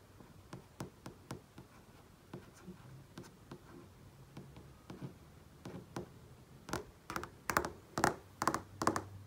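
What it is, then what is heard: Flat-screen TV display tapped. Fingertips and nails tap and trace across a large flat-panel TV screen, giving 17 short, dry taps with a quiet brushing sound between them. The taps start soft and spread out, then grow louder and closer together toward the end, each with a bright, clicky edge and almost no ring.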